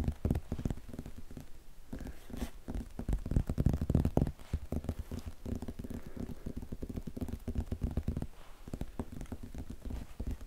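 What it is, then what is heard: Hardcover book, cloth-bound cover. Fingertips and nails tap and scratch the dark red embossed cloth-bound cover and cream page edges of a thick, solid old hardcover book held close to the microphone. The result is a dense stream of soft, dull, low-heavy taps with very short decay, mixed with quiet crackly scratching and a few louder bursts of tapping.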